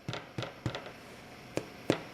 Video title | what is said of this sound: 1 perfect loaf of bread | that's a hollow sound that means your bread is done